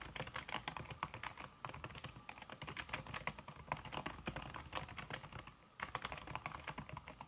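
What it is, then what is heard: Keyboard with silicone key cover, fast typing. Fast fingertip typing with red-painted nails on a slim backlit aluminum keyboard whose keys are covered by a red silicone skin. The keystrokes land as a rapid, steady stream of soft, muffled clicks with very short decay. Two brief pauses break the flow, around 1.5 seconds and 5.5 seconds in.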